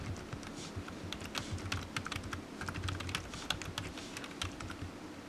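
Fingertips type steadily on a low-profile black plastic computer keyboard resting on a desk mat. Its hollow keys give a quick run of short, bright, dry taps with no ring, over a faint steady low hum.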